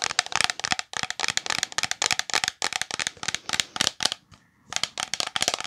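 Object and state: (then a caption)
Plastic shampoo bottle tapped with nails. Long nails rapidly tap and scratch a full, medium-size green translucent plastic OGX shampoo bottle with a gold cap, producing a dense run of crisp, bright, dry clicks and scrapes with almost no low end. The taps stop briefly near the four-second mark before resuming.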